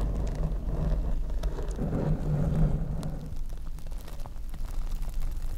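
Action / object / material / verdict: scrape / open-cell foam microphone windscreen / foam / none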